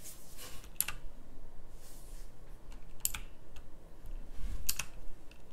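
Slow fingertip typing on a full-size backlit pink mechanical keyboard with round plastic typewriter-style keycaps. It produces short, bright, clicky keystrokes in small clusters over a steady low hum.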